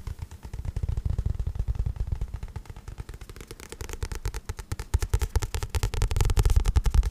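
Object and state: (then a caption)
Paperback book. Fingertips tap and scratch the glossy card cover of a paperback book with a solid paper block. The result is a fast, uneven run of dull, low thumps with a faint scratchy hiss above, growing louder toward the end.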